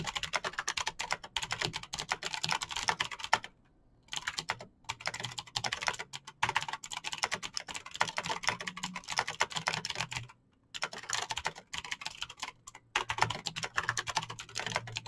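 Fingertips type fast on a Razer BlackWidow backlit plastic mechanical keyboard with clicky green switches, producing a dense stream of bright, sharp clicking taps. The typing runs continuously with a few brief pauses, around 3.5, 4.7 and 10.5 seconds, before resuming at the same rapid pace.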